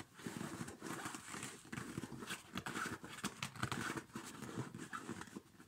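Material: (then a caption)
Nylon. Fingertips rub and scratch the padded, quilted nylon upper of a small, empty child's winter snow boot held in both hands. The result is a steady, soft, scratchy swishing rustle with small bright crinkles and quick, close-up scrapes. Toward the end a hand partly covers the boot, and the sound turns slightly muffled.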